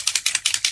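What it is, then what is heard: Spray can with rattling mixing ball. A metal can of color spray is shaken before use, and the loose mixing ball inside rattles to stir the contents. Eight quick, bright metallic clacks come in a steady rhythm, all high-pitched with no low end.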